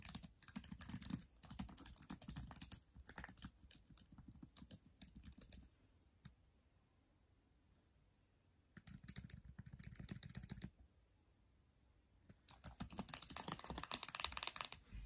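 Bare fingertips with short nails type on and press the plastic keys of a MacBook Air keyboard, and briefly tap the trackpad edge. Fast, irregular bright clicks come in three bursts, separated by pauses of near silence.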